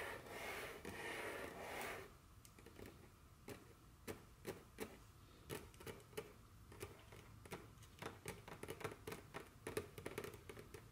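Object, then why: Wooden table top tapped with fingernails. Very long curved fingernails rub across a solid, dark wooden tabletop, making a steady bright scratching hiss for about two seconds. Then they tap the surface in an irregular series of sharp, dry clicks that die away almost instantly over a quiet background.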